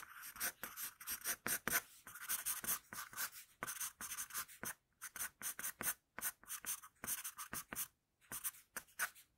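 An HB wooden pencil with a floral-pattern barrel, held in the fingers, sketches on a flat sheet of drawing paper lying on a table. About 40 short, quiet scratching strokes of graphite on paper come in quick bursts with brief pauses. The sound is dry and rasping, centered around 1.5 kHz with bright hiss and almost no low end.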